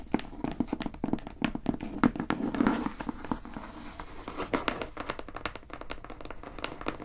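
Long painted nails tap rapidly on the top of a plain brown, medium-size corrugated cardboard box that is closed and hollow. Quick, dry clicks with a soft, hollow low-mid thud keep up an uneven rhythm that eases slightly toward the end.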